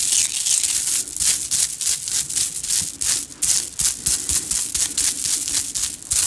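Long dark-painted nails and fingertips rub, scratch and shake several strands of small, shiny red and green hollow plastic Mardi Gras bead necklaces worn around the neck, knocking the strands against each other. The result is a fast, dense, bright rattle of clicking beads with almost no low end, swelling and dipping in quick bursts throughout.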